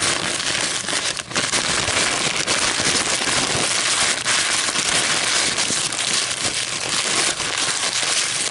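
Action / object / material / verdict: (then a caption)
scrape / paper coffee filter / paper / none. A crumpled, empty white paper coffee filter is crinkled between long metallic nails and fingers. It gives a steady, sharp, bright crackling with little low end. The crackle is near-continuous, with brief dips rather than separate hits.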